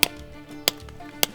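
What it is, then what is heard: Sap spout properly seated in a maple tree. A sap spout fitted with an extension is lightly tapped into a freshly drilled hole in a maple tree trunk, giving three sharp, bright taps with very short ring. The tapping stops once the sound changes, showing the spout is properly seated.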